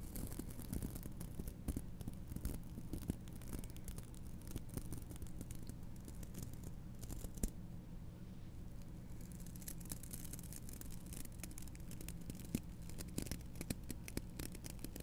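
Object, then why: Wooden hairbrush with bristles. Fingertips with long nails repeatedly brush and flick the black bristles of a wooden hairbrush held close up. The result is a quiet, steady bed of soft scratchy rustling over a low hum, dotted with many quick, faint ticks and crisp flicks that die away instantly, with a brief calmer stretch around the middle.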